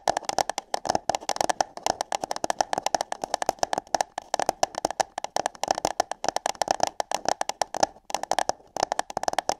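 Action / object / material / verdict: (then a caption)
tap / paper cup / paper / none. Long nails rapidly tap and scratch hollow paper cups placed over microphone ears. The result is a dense, uneven stream of short, dry, hollow clicks with a midrange tone around 800 Hz, bright scratchy edges and almost no low end.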